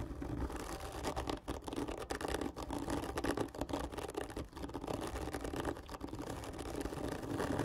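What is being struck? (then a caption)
Cardboard tube. Long fingernails on both hands scratch fast over a large, hollow black printed cardboard whisky gift tube lying on its side. The result is a steady, dense rasp with a hollow, boxy ring in the low mids and a soft low rumble underneath, with brief dips where the strokes pause.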